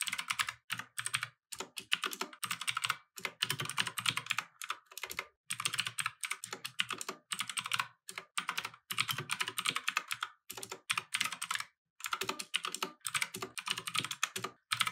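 Both hands type with their fingertips on a compact mechanical keyboard with plastic keycaps resting on a wooden desk. The result is fast, repeated, bright key clicks that die away almost instantly, centered around 3.2 kHz. They come in rapid bursts separated by brief pauses.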